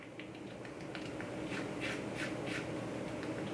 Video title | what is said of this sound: Gluten Free Peach Hand Pies! Made with freeze dried peaches!! | you can hear how crispy it is